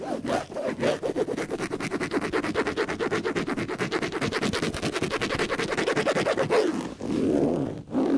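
Fingertips and nails scratch and rub quickly across a large grey ribbed-fabric upholstered headboard panel, padded over a flat backing and mounted on the wall above a bed. A fast, steady run of dry, rasping strokes centers in the midrange. After a brief pause near the end, it closes with a softer, smoother rub.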